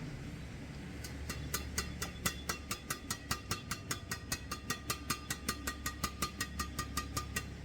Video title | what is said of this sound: Review Raket yonex nanoflare 1000 game - strike lightning - raket enak , head light full of speed. | ada nyingnya di belakang berarti raket ini lumayan Oke untuk suaranya nyaring ya garing lah